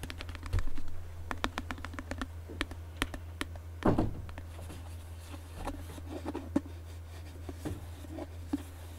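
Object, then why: Cardboard tube can with plastic lid. A tall green Pringles can, a cardboard composite tube with a closed plastic lid, is held in one hand while the other hand's fingertips tap the plastic lid on top. Quick, dry taps come in irregular bursts over a steady low hum, each one short and sharp with little ring.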